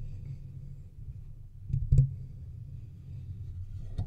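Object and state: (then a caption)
Metal microphone body. Fingertips and nails from both hands scratch and tap the sides of a hollow, silver metal microphone body. A low, steady rumbling scrape runs throughout, broken by a cluster of louder taps near the 2-second mark and a sharper click near the end.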